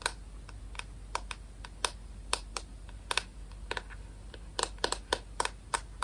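Long nails tap and scratch the white plastic back of a rectangular paddle hairbrush, a hollow shell. About nineteen quick, dry, bright clicks land in an irregular keyboard-like rhythm over a faint steady low hum, each dying away almost instantly.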